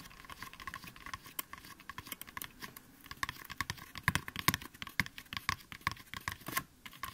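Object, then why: Styrofoam mannequin head. Both hands tap and scratch the top and sides of the scalp of a white, life-size styrofoam mannequin head with ears, made of light, solid foam, using fingertips and short nails. A rapid, irregular run of soft, dry, clicky taps mixes with bright scratching that grows denser and louder in the middle. A faint steady tone near 1 kHz hums underneath throughout.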